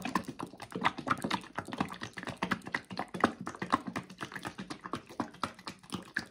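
A Pomì tomato sauce carton made of laminated paperboard and filled with thick liquid is shaken vigorously by hand. It makes a quick, uneven run of muffled sloshing thuds and soft papery taps, with the liquid slapping inside. The sound is mostly midrange with a little high rustle, and each burst dies away quickly.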